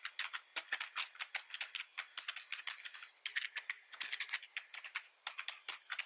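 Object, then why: Plastic computer keyboard. Both hands type fast with the fingertips on a full-size black plastic computer keyboard. A rapid, steady run of sharp, bright plastic key clicks and clacks is heard, each dying away almost at once, with no low end.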